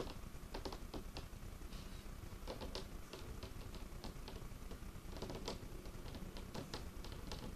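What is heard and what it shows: Curled fingertips and nails rapidly tap and scratch a large, solid, dark-stained wooden tabletop. The result is a quiet, steady patter of short, dry clicks with brighter scratchy strokes, over a low, rumbling bed.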